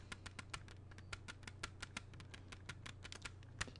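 Fingertips tap rapidly on the front cover of a closed, hollow plastic CD jewel case held steady. The result is a quick, uneven run of short, dry, bright clicks with almost no ring, over a steady low hum.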